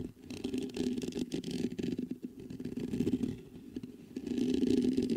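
Fingertips scratch the hollow mesh grille of a black metal USB condenser microphone. The result is a dense, rapid, uneven scratching rustle with a low-mid body, swelling and dipping before growing louder toward the end.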